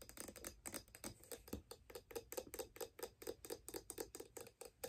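A figure skate held upside down is tapped by long black nails on its steel blade, aluminum mounting plate and wooden sole. About thirty quick, light taps come in a steady run, each a bright click with a short ring near 500 Hz that dies away almost at once.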